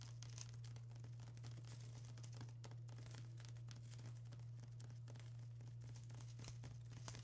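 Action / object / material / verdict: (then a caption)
scrape / plastic bubble wrap sheet / plastic / none. Long acrylic nails scratch and tap across a flat sheet of plastic bubble wrap, making a continuous stream of quiet, bright crinkling and crackling with small sharp ticks. A steady low hum runs underneath the whole time.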